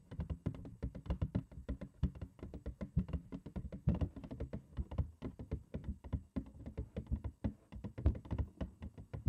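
A large printed cardboard cereal box, held upside down and hollow, is tapped on its front panel with long acrylic nails. It makes a rapid, uneven stream of soft, dull, low taps that die away almost instantly.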